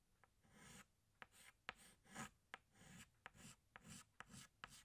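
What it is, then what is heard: Chalk rubbing on a blackboard. A yellow chalk stick rubs back and forth on a flat black chalkboard, thickening the outlines with rubbing strokes. Soft, bright, scratchy swishes alternate with eight sharp little clicks as the chalk touches down on the board. The whole clip is quiet.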